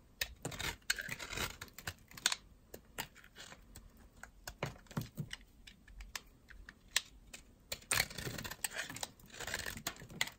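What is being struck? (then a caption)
Bar of soap scraped with a metal blade. A white oval bar of solid, dry soap is carved down with a metal utility knife blade while held in the fingers, scraping off dry, powdery flakes. Dozens of short, crisp, bright scraping and crackling strokes come in quick bursts, each ending almost instantly with a dry, close sound.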